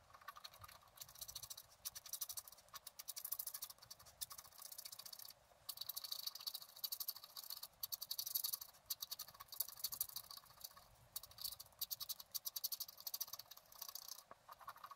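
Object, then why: Black-coated scratch art paper card scratched with a wooden stylus. A wooden stylus scratches rapid strokes into the coating of a flat, black-coated scratch art card, drawing the water and the basin of a fountain. The sound is a dense, high, dry scraping and rasping. It comes in bursts of quick, short strokes with brief pauses between them and almost no low end.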